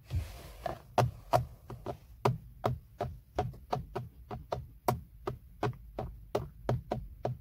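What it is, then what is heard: Plastic steering wheel airbag cover. Fingertips scratch, rub and tap across a large, hollow-backed BMW steering wheel centre airbag cover of padded hard black plastic, around the logo. About 21 short, dull knocks sound at an uneven pace, each with a low, hollow thump and almost no ring, with faint rubbing between them.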